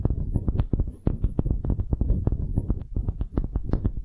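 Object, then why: Small wooden hemisphere. A small solid wooden hemisphere is tapped with long nails, then turned dome-up and scratched with both hands. The result is a rapid, uneven run of dry, short knocks with a heavy, muffled low thump and faint bright clicks at the attack, over a soft scratchy rustle between hits.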